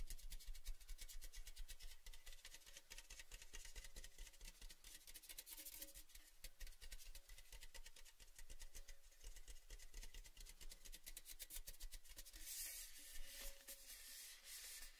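A tall, red, cylindrical metal Baileys gift tin, hollow and empty, is held in both hands and tapped and rubbed with fingertips and nails. The result is a quiet, steady stream of rapid, crisp taps and scratchy rubbing with bright clicking edges over a low hum. Each tap dies away almost instantly, with little ring.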